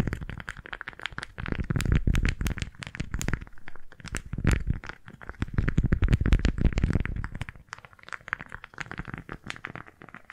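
A pink floral beeswax-coated fabric food wrap is squeezed and crinkled by both hands near the left microphone, then held flat and gripped with fingertips and nails. Dense, irregular crackling and crinkling with soft low thumps fills most of the clip. It grows quieter and sparser toward the end.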